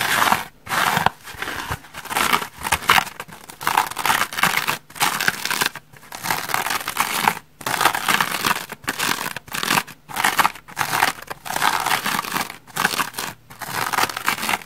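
Long red nails scratch the white, bubbly-textured back side of a dry foam sponge with a rainbow edge. Dry, bright rasping and crinkly scraping come in repeated bursts separated by brief silent gaps, with almost no low end.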